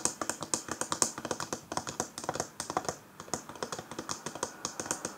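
Long fingernails of both hands tap rapidly on a small, hollow, round rose-gold metal powder compact with a patterned lid as it lies on a table. About thirty quick, bright clicking taps come in uneven bursts, each dying away almost at once, with a brief pause near the middle.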